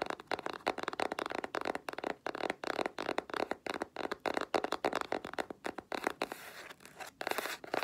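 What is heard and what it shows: Long black-polished nails rapidly tap and scratch the flat grey cardboard cover of a spiral sketchbook held upright. The result is a fast, uneven stream of short, dry, papery taps, with brief scratching rasps. A steady faint tone near 3 kHz runs underneath, and a longer scratchy stretch comes near the end.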